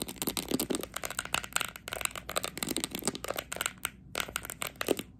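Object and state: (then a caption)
Plastic sports cone. Long acrylic nails rapidly tap and scratch the top and sides of a small green hollow plastic training cone. The result is a dense run of sharp, bright clicks and scraping rasps with almost no ring. A brief pause comes near the four-second mark before the tapping resumes.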